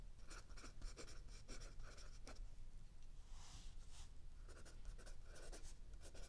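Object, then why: Pencil on paper notebook page. A mechanical pencil writes continuously on a lined paper page of a spiral-bound notebook lying flat on a wooden table, while an open paperback book sits still under the other hand. Quiet, dry scratching strokes come in quick, bright bursts over a faint low background hum.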